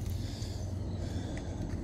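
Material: Nothing is struck.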